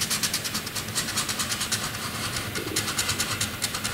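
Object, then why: Graphite pencil on a paper sheet. A black graphite pencil scratches continuous zigzag scribbles across a flat white drawing paper sheet. Bright, hissy strokes repeat in a quick, uneven rhythm of about three per second, with a soft low rumble underneath.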